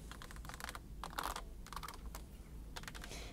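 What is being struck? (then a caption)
Stacked plastic buckets. Long acrylic nails tap fast on the side walls of a stack of large, empty, hollow pink plastic buckets with rope handles. The result is bursts of quick, light, clicky ticks with a hollow tone, over a steady low hum.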